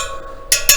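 Two taps on the steel wire spokes of a freshly laced and trued KTM motorcycle wheel, checking that the spokes are tight. Each tap gives a short, bright metallic ping with little low end, and the ring fades quickly over a faint steady background hum.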